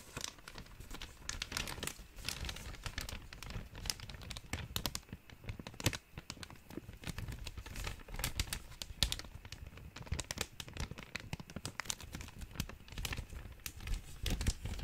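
An empty, thin clear plastic zip-top bag is held in both hands and crinkled and rubbed with the fingertips. A dense, steady stream of sharp, bright crackles and crinkles runs for about fifteen seconds over a soft low rustle, with no pauses.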